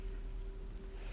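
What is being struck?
Nothing is struck.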